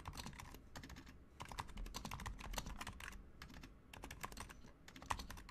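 Both hands type continuously with the fingertips on a Razer Huntsman Mini, a compact 60% mechanical keyboard with a white plastic case, white plastic keycaps, lubed silent switches and RGB backlight. The result is a rapid, steady stream of soft, muffled keystrokes with a thocky low end, short clicky mid-range taps and brief faint brighter ticks, each dying away almost instantly.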